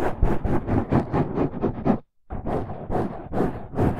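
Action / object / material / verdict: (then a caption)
scrape / foam microphone windscreen / foam / none. Fingertips and nails of both hands scratch the sides of a dark, rounded foam windscreen over a microphone. It makes a dense, rough rustling with a heavy low rumble and bright crackling bursts in quick, uneven strokes. The scratching stops briefly at about two seconds and then resumes.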